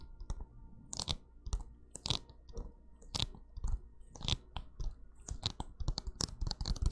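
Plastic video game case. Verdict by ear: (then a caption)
Empty. Fingertips tap and make sticky-finger contact on an empty plastic video game case, producing a quick, irregular series of short, dry clicks and crackles. The disc was taken out beforehand so it would not vibrate inside the case and make an unrelaxing sound.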